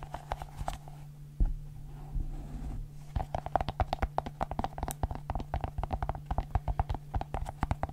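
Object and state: Silicone pop-it fidget ball.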